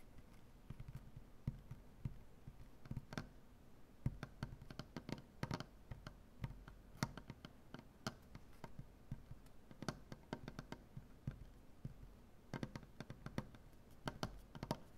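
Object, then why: Maple butcher-block tabletop. Fingernails on both hands tap quickly across a large solid maple butcher-block tabletop. The result is a quiet, irregular flurry of short, dry taps with a dull low thump and brief bright clicks that die away almost instantly.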